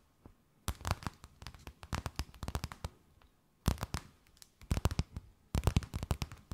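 A thin, empty, clear plastic bag held between both hands is tapped, scratched and crinkled with long nails. Quick, dry crackling taps come in three dense bursts separated by short quiet gaps, each snap cutting off almost instantly with a soft low thump beneath the bright rustle.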